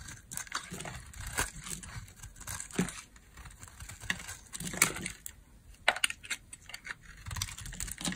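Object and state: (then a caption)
Dry bar soap being shaved. A metal blade shaves dry flakes from the edge of a solid orange oval bar of soap held in the hand. The result is a series of short, crisp, crumbly scrapes and crunches, bright and dry with almost no ring, over a soft low rustle.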